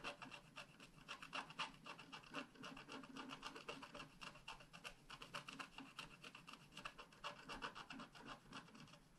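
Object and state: Scratch art paper being scratched.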